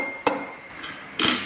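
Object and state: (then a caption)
Drinking glass struck with a metal fork, bright ringing. A drinking glass is struck twice with a metal fork, giving two bright, high-pitched "ting" clinks with a short ring. The sound is loud.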